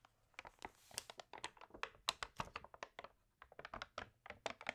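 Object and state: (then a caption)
Water-damaged paper magazine, page turned and scratched. An open, water-damaged paper home magazine has a page turned while long nails rub and scratch across the paper. The result is a quick series of short, bright crinkles, scratches and soft taps, with a brief quiet gap just past the three-second mark.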